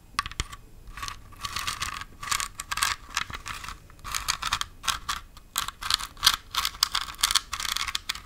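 Long white-tipped nails tap and scratch a large red glitter-coated Halloween pumpkin decoration with a metallic stem, its hollow body likely foam or plastic, held close to the mic. The result is a rapid run of dry, bright, crackly scrapes and short clicks with almost no low end and no ring after each touch.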